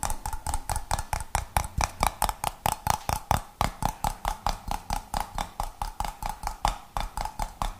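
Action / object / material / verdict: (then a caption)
tap / glass jar with metal lid / glass / none. Fingertips and nails tap a clear glass jar with a gold metal lid and a little pale content at the bottom, striking both the glass and the lid. About 36 quick, short taps sound in a loose, uneven rhythm, each with a dull low thump, a brief ringing tone near 830 Hz and a bright clicky edge that dies away almost at once.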